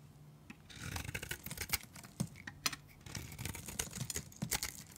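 A utility knife blade shaves curls off the surface of a solid, dry, pale green bar of soap held in the hand. The result is a run of crisp, bright scraping and shaving strokes with quick snapping cuts, over a faint low rumble.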